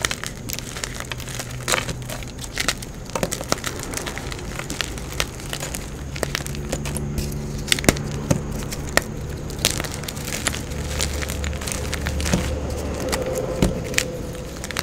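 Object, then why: Block of gym chalk. A solid, fist-sized block of blue-dyed gym chalk (magnesium carbonate) is held in both hands and crushed and broken apart with fingertips and painted nails over a pile of blue chalk powder. A steady, dense stream of dry crackling and crumbly crunching fills the clip, punctuated by many sharp, bright snaps over a low, soft rumble.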